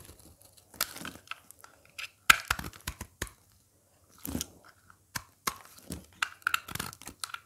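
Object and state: Dry soap bar scraped and cracked.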